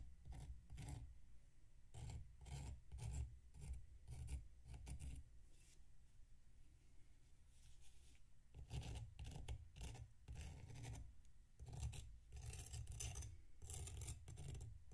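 A metal knife scrapes the surface of a solid packed sand block resting on a plate. Short, gritty rasping strokes come one after another, each with a dull low body and a bright, sandy hiss. The scraping eases into a quieter, softer stretch in the middle before the strokes pick up again.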